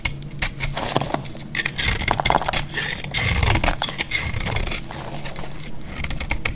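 A solid, dried green bar of soap held in the hand is cut with a metal utility-knife blade, and crisp flakes fall away. A dense run of dry, bright scraping and crackling clicks sounds over a low, rough rumble from the blade dragging through the soap.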